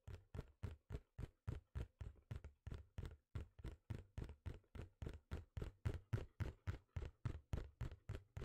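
Fingertips and nails tap and scratch the surface of a small, hollow, printed cardboard computer-mouse box held in both hands. The result is a steady run of dull, hollow, low thuds at about three to four per second, each short and quickly damped.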